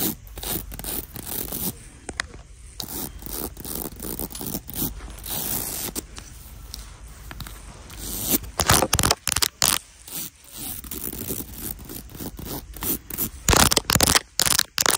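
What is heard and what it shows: Long nails and fingertips scratch and tap over a small flat black clutch bag covered in tiny round beads, with a gold clasp, lying on a cushion. A steady, bright, gritty rasp of nails dragging across the beads runs throughout, with fine clicking texture. From about 8 seconds on, louder, sharper bursts of tapping and scraping break in at irregular intervals.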